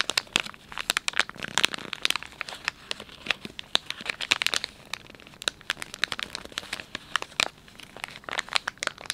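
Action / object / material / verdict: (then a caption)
scrape / soft plastic film pouch of wet wipes / plastic film / none. Thumbs and fingertips rub and crinkle the soft plastic film of a filled, palm-sized Dettol wet wipes pouch. Many sharp, bright crackles and snaps come in quick irregular bursts over a soft rustling bed, with almost no low end. Each crackle cuts off at once with no ring.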